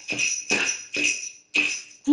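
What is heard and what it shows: A homemade glass jar shaker holding rocks, a necklace and safety pins, with its top covered in tightly wrapped aluminum foil, is shaken in five quick bursts. The contents rattle against the foil from the inside, making a bright, papery jingle and clatter that sounds different from when they hit the glass.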